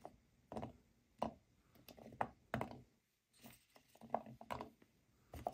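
Hands sweep and gather a pile of dry natural cork wine stoppers in a white bowl, using the fingertips and long nails. Quiet bursts of hollow cork clatter and soft rubbing come in short, dry clusters with almost no ring, broken by a brief silent pause midway.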